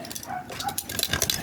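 The engine control unit (ECU) box from a 2007 Hyundai Tucson that won't start is shaken by hand, producing a quick, bright rattle of something loose knocking around inside. The rattle is abnormal; the box was later opened and found burnt inside.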